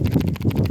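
A Xiaomi smartphone is shaken, and the optical image stabilisation in its periscope telephoto camera module moves loose inside, giving a quick run of dull, low rattling clicks with almost no high-frequency content. The rattle is normal behaviour, not a fault.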